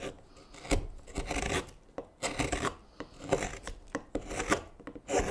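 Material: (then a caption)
Wood. A hook knife carves and scrapes shavings from the hollow bowl of a light wooden spoon blank held in gloved hands. Short, rough rasping strokes come in bursts with brief quiet gaps, each with a dry, bright scraping edge and a soft low thud as the blade bites.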